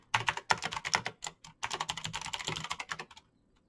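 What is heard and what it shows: Fingertips type fast on a Razer BlackWidow backlit plastic mechanical keyboard with clicky green switches. About 17 sharp, bright clicks come in quick bursts with a short pause in the middle. Each click is crisp and dies out almost instantly before the typing trails off.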